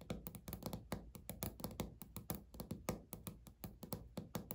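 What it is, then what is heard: Laminate countertop, solid. Fingernail tips on both hands tap in rhythm on a flat, solid, speckled beige laminate countertop, producing about 27 quick taps. Each tap is a short, dull knock, weighted low with only a little brightness, and dies away almost at once in an uneven, rolling pattern.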